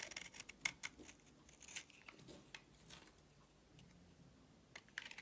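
A blade carves a solid purple soap bar held in the hand, and curls pile up. Quiet, bright scraping strokes and crisp little cuts come in short, uneven bursts with almost no low end.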